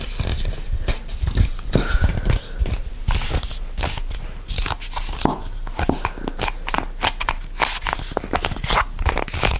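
A hollow, red printed plastic squeeze tube of the hand-cream kind, with a barcode on its side, is gripped and squeezed with fingertips and nails just above the microphone. The result is a steady stream of crinkly crackles, soft thumps and bright nail clicks with little pause.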